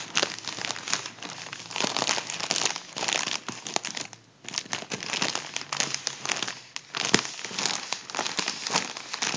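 A soft, hollow, partly deflated gold mylar foil balloon is crumpled and rubbed by fingers across its foil surface. The result is a dense, bright crinkling and crackling that runs almost without a break, dipping briefly into near silence about halfway through before the rustling resumes.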